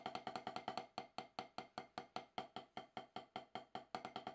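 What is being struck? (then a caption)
Rubber drum practice pad struck with wooden sticks. Two wooden-tipped wooden drumsticks strike an octagonal HQ snare practice pad, about 12 inches, with a dark gum rubber surface on a solid base, resting on a lap on grey cloth. Twenty-eight rapid, uneven taps and short rolls sound as dry, knocky clicks centered near 750 Hz. Each tap dies away almost at once.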